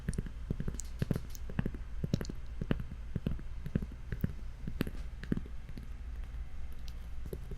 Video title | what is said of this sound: Gibi ASMR Live Show - Full HD | it sounds pretty nice when you tap on it